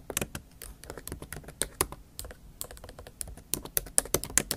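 Long acrylic nail tips tap and type on a MacBook Pro keyboard, its black plastic keys set in a silver aluminum laptop body. The sound is a quick, uneven run of sharp, bright clicks with very short decay over a faint low background.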